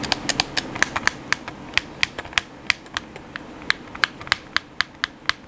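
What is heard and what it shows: Thumbs and fingertips click the buttons of a hollow black plastic PS4 controller, making about 25 quick, separate clicks. Each click is sharp and bright, centred near 1.6 kHz, and dies away almost instantly, with little low end and a faint steady background between presses.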